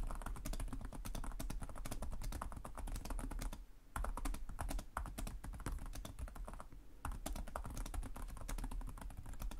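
Fingertips with short nails type rapidly and continuously on the plastic chiclet keyboard of a black laptop resting on a desk. Dense, crisp clicks run throughout, with brief pauses just before 4 seconds and around 7 seconds, over a steady low hum.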